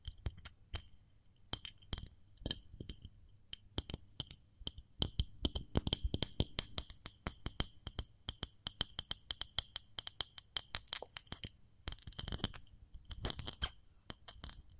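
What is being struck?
Ceramic fluted cake mold.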